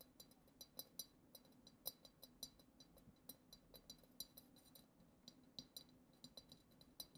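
Long acrylic nails tap the lower bowl of a hollow, clear glass goblet decorated with glitter swirls. The result is a quick, uneven run of many light, bright clinks, each ringing only briefly over a faint low background hum.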